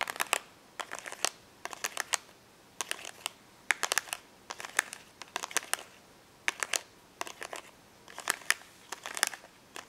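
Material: Plastic.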